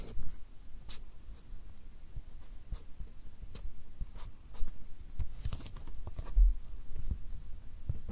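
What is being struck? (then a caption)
Fine pen tip on a small stack of paper. The fine tip of a black drawing pen scratches across a small, solid stack of white paper or card held in one hand right in front of the recorder, drawing lines. Short, dry, bright scratching strokes come and go over a soft low rumble, each stroke fading almost at once, in a quiet, close setting.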